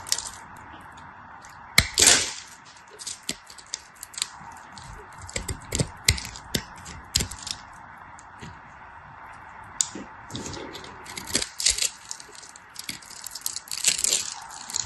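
A solid bar of dry orange and white striped soap, held in the hand, is crushed and carved with a knife blade into crumbly chips. Bright, dry crackles and sharp snaps come in scattered bursts, with a few louder cracks over a faint steady hum.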